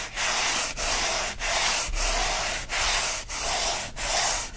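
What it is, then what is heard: Cardboard mailer box being scratched. A hand scratches and rubs rapidly with its fingers across the lid of a closed, hollow kraft corrugated cardboard mailer box. Seven broad, bright, hissing scratching strokes sweep back and forth in a steady rhythm, each separated by a brief dip in loudness. There is little low end.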